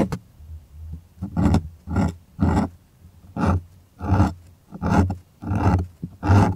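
Fingers rub and scratch across a stretched white cotton art canvas on a wooden frame, heard up close. Repeated, irregular strokes each make a deep, rumbling rasp with a little brighter scratchy texture on top, separated by short quiet gaps.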